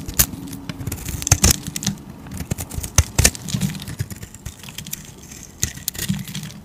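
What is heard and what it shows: A hand-sized solid bar of soap, cream-coloured inside with a pink outer layer, is held in a hand with long teal-painted nails and scraped and shaved with a metal utility razor blade. The blade makes a run of crisp, crackly scraping strokes with bright edges and a soft low rustle underneath, some strokes sharper and louder than others. Curls of soap peel off as it is carved.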